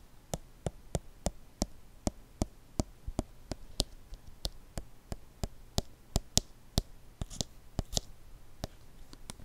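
A small, hollow white plastic lotion squeeze bottle with a blue cap is held in both hands and tapped slowly with fingertips and nails right next to the mic. About 23 short, crisp taps and clicks sound at a fairly steady pace, each dying away almost instantly.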